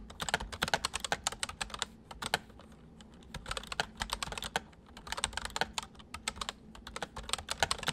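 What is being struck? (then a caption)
Plastic mechanical keyboard. Both hands type quickly with their fingertips on a full-size white plastic mechanical keyboard with white keycaps, resting on a wooden desk. Rapid bursts of sharp, bright clicks and clacks come in runs, separated by a few brief quieter pauses. Each keystroke stops almost instantly with no ring.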